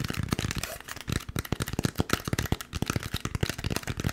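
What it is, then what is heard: Styrofoam packaging block. Fingertips rapidly tap and scratch the surface of a white, molded, partly hollow expanded polystyrene foam packaging block held in the hand. The result is a quick, uneven run of short, dull, low thumps, each stopping dead, mixed with dry, squeaky, crackly scraping.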